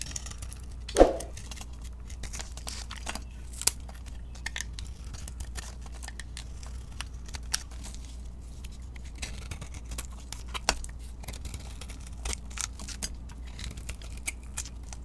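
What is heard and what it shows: A solid bar of soap with a pink glitter coating, held in the hand, is scraped and carved with a utility knife blade, sending white flakes falling off. Soft, dry scraping and shaving strokes with crisp, bright edges run throughout, with a louder crackling cut just after the start. A steady low hum sits underneath.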